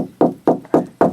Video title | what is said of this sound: HOW TO INSTALL A RV TV (DIY) #rvlife | when you knock on it it's solid